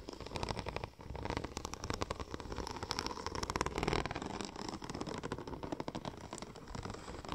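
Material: Vinyl.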